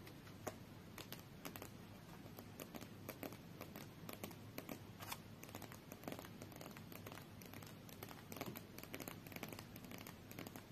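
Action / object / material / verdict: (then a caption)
scrape / deck of coated paper playing cards / coated paper / none. Long nails and fingertips scratch and tap the edges and face of a small, solid stack of coated paper UNO cards held in both hands. The sound is a quiet, steady run of dry, crinkly scratching with many quick, sharp little taps that stop almost instantly.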